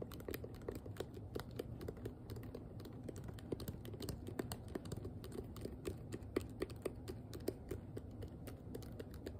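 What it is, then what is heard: Plastic hairbrush, hollow. Fingernails on both hands tap fast on a hand-sized, hollow pink plastic detangling hairbrush. The result is a rapid, uneven stream of short, dry clicks with a slight hollow knock, over a steady low hum.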